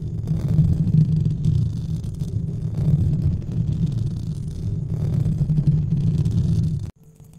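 A white, textured foam or fabric windscreen over a large studio microphone is rubbed and scratched with the fingertips of both hands. The result is a dense, muffled low rumble with soft, continuous scratching that swells and dips for about seven seconds, then drops abruptly to near silence.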